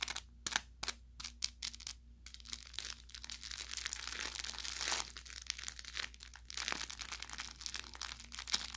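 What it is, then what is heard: Plush toy with crinkle filling. An orange velour plush carrot cat toy, soft and stuffed with crinkle filling, is squeezed and scratched with fingertips and short nails. It gives bright, dense crinkling with sharp crackles and pops that come in quick bursts and swells, over a faint steady low hum.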